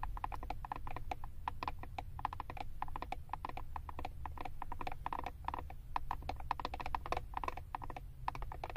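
Long acrylic nails tap and scratch rapidly across the back of a flat plastic eyeshadow palette covered by a printed paper label with a barcode. The result is a steady stream of short, dry clicks centred in the mid-range around 1 kHz, with no ring and a low rumble underneath throughout.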